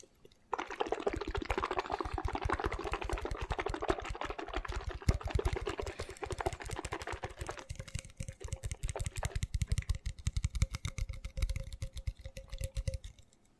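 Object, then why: Small plastic bottle. Fingertips and nails tap quickly along the body of a small, hollow red plastic vitamin shot bottle with a white neck; its cap is off and lies on a towel, and the bottle is likely empty after drinking. A dense stream of rapid, dry taps with soft low thuds starts after half a second, at first with a bright, crackly edge. In the second half the taps grow sparser and more thumping, with a faint hollow ring held underneath until the tapping fades out.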